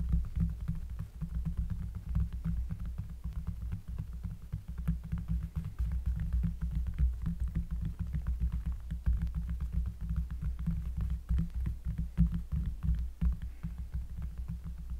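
A round, flat, solid cork trivet lying on a table is traced and lightly tapped with the fingertips and long nails of both hands. The result is a continuous stream of soft, dull, bassy taps and scratchy strokes over a low throbbing hum.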